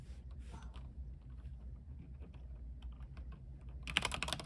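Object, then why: Mechanical keyboard with plastic keycaps on a metal frame. Fingertips type at a moderate pace on an RGB mechanical keyboard with white plastic keycaps on a silver aluminium frame. Soft, irregular key clicks sit over a steady low hum, then a burst of louder, brighter clacks comes near the end.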